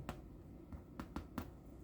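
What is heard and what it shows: Homemade Thanksgiving dinner rolls just out of the oven are tapped five times, each tap a short, dull, hollow-ish knock that dies away almost at once. The hollow sound shows the rolls are done baking.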